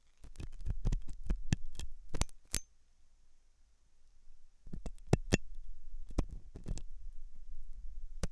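A hooked metal dental tool scratches inside the ear canal of a white translucent silicone ear made of soft solid rubber, likely mounted on a binaural microphone. Close, crackly scrapes and sharp clicks with a deep, muffled thump come in an irregular flurry, pause briefly, then start again and continue to the end.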